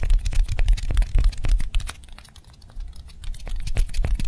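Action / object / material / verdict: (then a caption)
tap / styrofoam balls / styrofoam / none. Two small white solid styrofoam balls, one held in each hand, are fast-tapped with long manicured nails. The result is rapid, slightly uneven tapping with soft low thuds and bright, dry nail clicks that die away almost instantly. The tapping eases off and grows quieter midway through, then picks back up.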